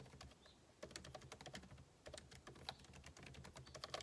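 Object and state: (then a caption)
Laptop keyboard being typed on. Fingertips type rapidly on the plastic keycaps of a backlit MacBook Pro keyboard set in an aluminum body. Quiet, dense, short clicks follow one another with a dry, bright tap and a soft low thud beneath, in uneven bursts with brief pauses.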